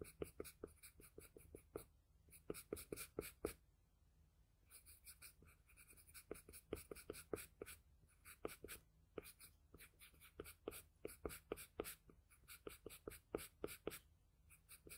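A wooden HB graphite pencil tip sketches an eye on a flat sheet of drawing paper lying on a table, a hand making continuous light strokes. Quick, dry scratching strokes come in rapid bursts with brief pauses, each a short, bright rasp with a hint of a low hum underneath.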